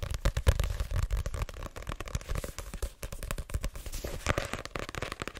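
A paperback book with a card cover, a solid block of paper held up, is tapped quickly on its front cover with long nails and fingertips. The result is a rapid, uneven stream of dull, low thumps mixed with sharp crackly clicks, each dying away almost at once with no ring.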